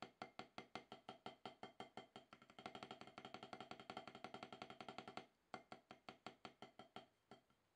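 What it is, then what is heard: Rubber drum practice pad. Two wooden drumsticks tap alternately on a solid octagonal HQ rubber-top drum practice pad, producing short, dry, bright clicks with a mid-pitched knock. The strokes start as evenly spaced single taps, then quicken into a dense, louder roll. After a brief pause, slower taps resume and fade out.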